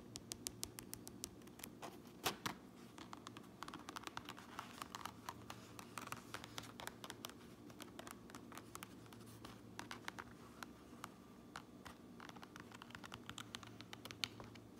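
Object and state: Fabric cap lining scratched and tapped with nails.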